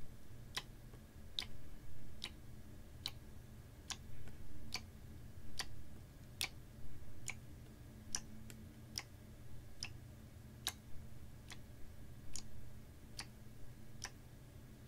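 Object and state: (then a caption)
Plastic water bottle partly filled with water. A clear plastic water bottle of about 500 ml with a white cap, partly filled with water, is held horizontally in both hands, tilted and gently shaken so the water sloshes. About nineteen short, bright, dry ticks sound at a slow, uneven rhythm, possibly from fingertips or nails tapping its ridged sides. They sit over a soft, steady low rumble.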